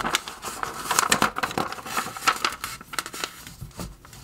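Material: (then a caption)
Glossy paper. An open trade magazine with thin glossy paper pages lies on a table while fingertips lift, flip and smooth the pages. Crisp, crinkling rustles and quick bright swishes rise and fall throughout, with light rubbing between the page turns.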